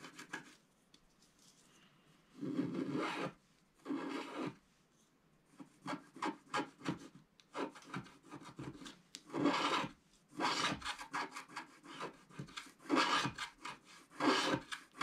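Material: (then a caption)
Coated paper. A wooden stylus scratches away the remaining black coating at the top left of a flat scratch-art paper card. After a quiet start, a few longer raspy strokes give way to a run of quick, dry scratching bursts with short pauses between them. The rasp is bright and papery, with little low end.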